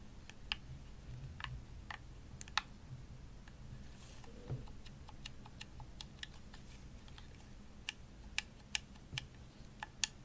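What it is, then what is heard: Plastic game controller tapped with nails. Long nails tap the shell and buttons of a hollow, purple, glossy plastic Xbox controller. Sharp, bright clicks and ticks die away almost instantly, landing at an irregular pace over a steady low background hum. A few taps near the end stand out louder.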